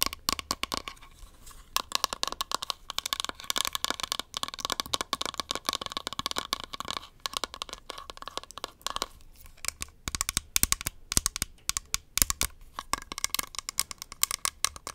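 Long nails rapidly tap and scratch the lid, the sticker-covered bottom and the rim of a small, round, beige plastic makeup powder compact with a hollow case. The result is a dense stream of fast, sharp, bright clicks and crinkly scratching with very short decay, over a faint low hum.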